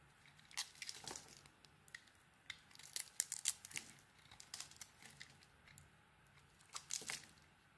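A solid blue stamped bar of soap is shaved with a metal blade down to its pale core. Quiet, bright scraping and crisp crackling strokes come in irregular bursts over a faint, steady hiss, with each stroke cutting off almost instantly.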